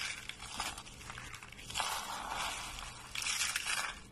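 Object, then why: Curled soap shavings. A pile of hollow, curled, dry white soap shavings is crushed between fingers into brittle flakes. It makes a dense, bright, crackling crunch with almost no low end, swelling into louder bursts around the middle and again near the end before fading.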